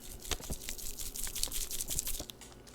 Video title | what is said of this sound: How to buy expired film...and not get burned! | that kind of moraca sound what that is is that those are dried chemicals which are on the inside of this package